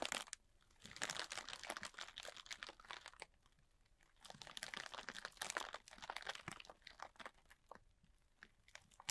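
A large clear plastic bag, full and tightly packed with small white polystyrene foam beads, is held in the hands while fingertips and short nails scratch and squeeze its surface. Bursts of bright, dense crinkling and crunching come and go, with quieter lulls between them and almost no low end.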